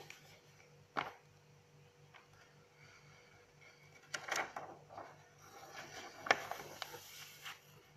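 Long acrylic nails grip and turn the white pages of an open paper notebook while fingertips rub across the paper. Sharp, bright nail clicks and page snaps stand out against soft, papery rustling and rubbing. A faint steady low hum sits underneath throughout.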